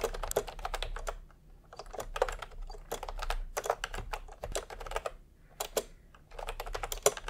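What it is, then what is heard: Plastic keyboard typing. Bare fingertips of both hands type fast on a full-size pastel plastic retro keyboard with round typewriter-style keycaps, resting on white fabric. Bursts of quick, crisp plastic clicks come in clusters with short pauses between them, each tap dying away almost instantly.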